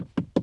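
Two knocks on a car's interior door panel, a hard but slightly padded plastic trim with small stitching, each giving a short, dull, low thud that dies away almost at once. The panel sounds like plastic.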